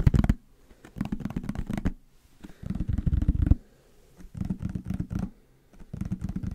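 A hollow yellow plastic bottle with a white cap is held in the hands and scratched and tapped with fingernails. Four bursts of quick, dull, low-pitched tapping and scratching come between short quiet pauses.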